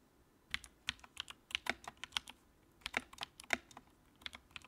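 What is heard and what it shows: Fingertips type on the keycaps of a compact white plastic mechanical keyboard with backlight. About 21 quick, bright, clicky keystrokes land in uneven bursts, with almost no low end. Each one stops almost instantly, leaving short quiet gaps between bursts.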